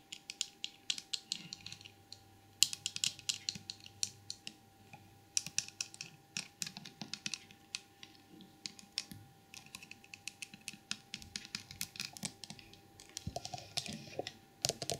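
Long purple nails tap and scratch a small, hollow porcelain elephant trinket box held in the hands, a white glazed ceramic figurine with a painted red and gold lid and jewels, working over its body, ear and lid. Dozens of quick, bright clicks and light scratches come in irregular bursts, each dying almost instantly, over a quiet background with a faint steady tone.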